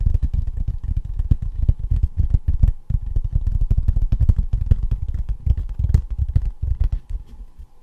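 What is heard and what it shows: Fast fingertip and fingernail tapping across the raised letters of a thin embossed tin novelty license plate held in both hands. It makes a dense, continuous patter of dull, low, hollow knocks with sharp, bright clicks. A faint steady tone sits underneath, and the tapping thins out and softens near the end.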